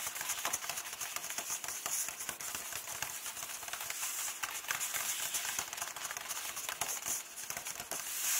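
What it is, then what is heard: Paper book pages. Fingertips and nails rub and tap the paper pages of an open hardcover book, staying on the same text spread. The result is a dense, bright, crackly scratching with quick soft taps, almost all high-frequency hiss with no low end, holding a steady level throughout.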